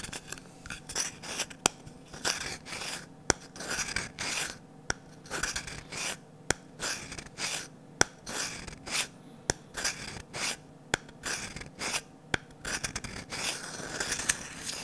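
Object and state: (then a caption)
Varnished wooden ladle. Fingertips and nails rub and scratch along the long curved handle and bowl of a medium, glossy orange, varnished wooden ladle that is solid and empty. Slow, bright, raspy scratching swells come and go, punctuated by sharp clicks about every one and a half seconds.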